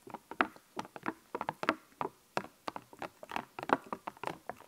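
A small sheet of puffy epoxy plastic stickers on a clear backing is held in both hands while fingertips and nails press, tap and scratch the raised stickers. About twenty quick, dry plastic clicks and short scratchy bursts come in an uneven patter, bright in the midrange around 1 kHz with almost no low end. Each tap dies away at once, leaving quiet gaps between them.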